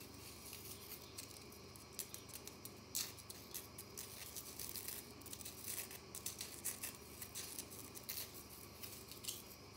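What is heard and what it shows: A small, round, white-pink bath bomb of dry, solid compressed powder is held in one hand and scratched and flicked by long natural nails. Quiet, bright, crisp scratches and ticks come in irregular bursts over a steady low hiss.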